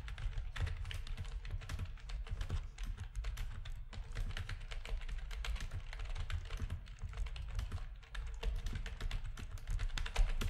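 Fingertips of both hands type rapid key presses on a full-size black plastic backlit RGB gaming keyboard with a hollow housing. A dense, steady stream of short clicks and taps with a heavy low thump underneath continues throughout, with each keystroke dying away almost at once.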